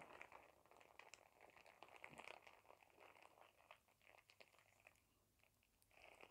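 A thin, clear printed plastic shower cap is crumpled into a bunch and crinkled with fingers. It gives a quiet, continuous run of crisp crackles with bright, hissy highs. There is almost no low end, and the crackling swells and fades over the few seconds.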